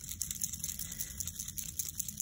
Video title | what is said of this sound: Introducing Couture Creations Winkles Glitter Markers to add that shimmer & shine to your creations | you can hear the little beads in there mixing everything together